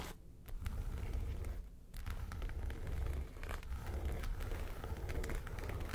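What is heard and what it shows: Long nails scratch the side panels of a small, hollow, yellow textured faux-leather makeup suitcase. The result is a dull, low, rumbling scrape with scattered faint bright ticks. Two brief quieter pauses come near the start and just before the two-second mark.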